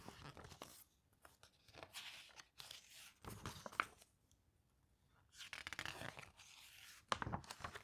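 A glossy paper brochure is held open while its pages are flipped and fanned with fingertips and long nails. Bursts of bright, crinkly rustling and sharp swishes come in irregular clusters, separated by quiet pauses.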